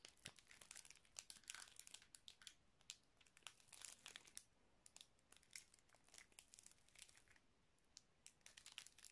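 A small clear plastic zip-lock bag with red stripes near the seal, filled with colourful items, is crinkled and rubbed by fingertips and shifted between both hands. The result is a steady, quiet stream of bright, crisp crackles and rustles with sharp little snaps and almost no low end.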